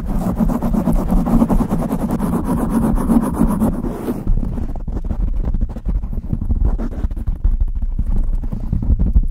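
Long nails scratch fast over a soft, porous dark foam windscreen covering a large upright studio microphone, producing close, muffled handling noise. The sound is a dense, low rumbling scrape made of rapid rough strokes, with some brighter hiss in the first four seconds before it turns duller and heavier.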